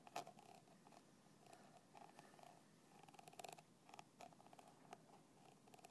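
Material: Plastic.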